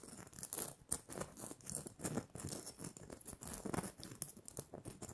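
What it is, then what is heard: Glitter-coated plastic Christmas bauble. Long nails scratch and tap the surface of a small, hollow red glitter-coated plastic Christmas bauble with a gold cap and string. The result is a quiet, continuous run of gritty, crinkly scratches mixed with soft, quick taps that cut off almost at once, carrying bright, high sparkle above a dull, low body.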